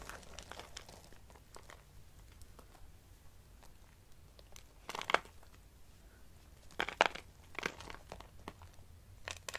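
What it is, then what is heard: Dry soap shavings. Brittle, pale green dry soap shavings are pinched and crushed with fingertips and long nails. Quiet, dry crinkling and crackling runs throughout, broken by a few louder, brighter crunch bursts near the middle and end.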